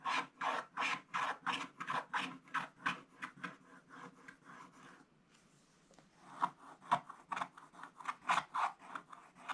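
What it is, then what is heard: Scratch-art paper being scratched. A thin wooden stylus scratches away the remaining black coating around a gift sack on a flat, coated scratch-art paper page of a scratch book, with the other hand resting flat on the book. Quick, raspy back-and-forth strokes with a bright papery edge repeat at a brisk pace, fade to a soft, faint scraping midway, then return in sharper, louder strokes.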